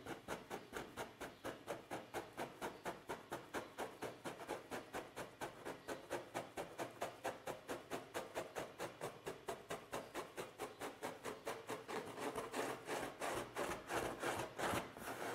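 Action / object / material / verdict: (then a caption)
scrape / sheet of paper / paper / none. Both hands scratch and rub a large, thin, flat white sheet of paper lying on a table, using short fingernails and fingertips. Dozens of quick, dry, bright scratching strokes repeat in a steady rhythm, growing denser and slightly louder toward the end.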